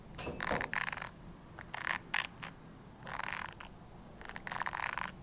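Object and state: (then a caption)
Plastic hairbrush bristles. Long nails flick and scratch the white bristles of a red plastic hairbrush held upright. Bursts of dry, crackly ticking and scraping come in clusters, bright and papery with a midrange peak near 1.8 kHz. Short quieter pauses fall between the clusters.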